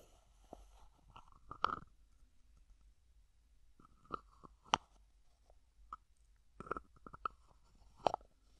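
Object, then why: Plastic cosmetic jar with screw lid. Fingertips twist the white plastic screw lid of a small, hollow white plastic cosmetic jar with a printed label, held in the hand. Quiet, dry plastic clicks and short scraping ticks come in scattered clusters separated by near-silent pauses, with a bright, faintly hollow edge.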